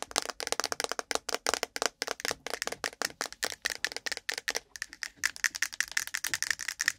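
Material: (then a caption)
Plastic. Long pointed nails from both hands tap rapidly on the sides and lid of a hand-sized, cylindrical, ribbed, translucent plastic case full of cotton swabs, set on the microphone. The result is a quick, uneven stream of sharp, bright clicks with a slight rattle and no low end. Each tap stops dead, and the later taps carry a faint plasticky ping near 1.8 kHz.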